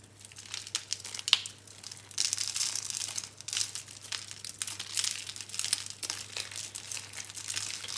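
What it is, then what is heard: Dry soap curls crushed by hand. A handful of small, hollow, dry green-and-pink recycled soap curls is squeezed and crushed in bare hands over a pile of soap crumbs. Dense, bright, crinkly crunches and crackles come in quick overlapping bursts, with a faint steady low hum underneath. The curls break apart into crumbs with a dry, brittle sound.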